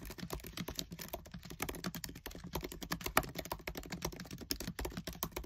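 Fingertips with short nails type fast on the black plastic keys of a MacBook Air keyboard set in an aluminium body. A rapid, continuous stream of short, dry clicks and taps with bright edges runs throughout, each key strike dying away almost instantly.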